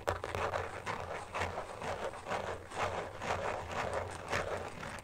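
A thin, hollow, phone-sized carbon fibre case with a woven pattern lies flat on a fuzzy blanket while fingertips and short nails tap and scratch quickly across its back. The result is a fast, loosely irregular run of soft, dry clicks and scratchy rustles in the mid range, with a low hum underneath.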